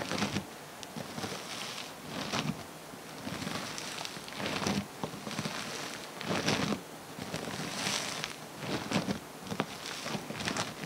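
Fingers squeeze, press and spread a flattened mass of multicolored foam bead slime on a table. Soft, crackly popping and squishing swell in repeated bursts, with bright crackles over a low, muffled squelch. The sound stays fairly quiet throughout.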